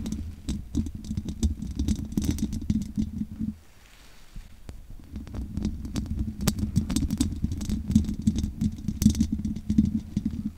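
Long nails scratch and tap the hollow metal mesh grille of a large USB condenser microphone with no windscreen, producing dense, close scraping and pattering over a boomy low hum centered near 215 Hz. The scratching pauses into near-quiet for about a second around the four-second mark, then resumes just as busily with short, bright ticks until the end.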